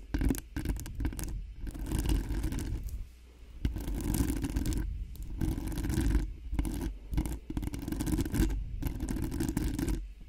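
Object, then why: Metal mesh microphone grille. Long nails on both hands rapidly scratch and tap the hollow metal mesh grille of a cream-colored Blue Yeti-style microphone. The result is a dense, bassy stream of scraping and sharp taps in rapid bursts, broken by brief pauses.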